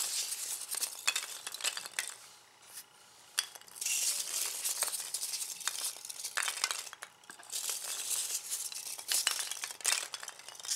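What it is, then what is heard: Polystyrene foam packing peanuts. A pile of white expanded polystyrene packing peanuts on a bamboo board is stirred, grabbed and rubbed together with both hands. The result is a bright, dry rustle of squeaky rubbing and dense clicky crunches that swells and fades in bursts, with a brief quieter lull near the three-second mark. There is almost no low end.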